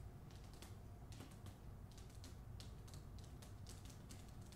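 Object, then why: Hardcover book with paper dust jacket. Long nails tap quickly on the front cover of a hardcover book with a paper dust jacket, held close to the listener. Rapid, light, bright clicks run in clusters over a quiet, steady low hum.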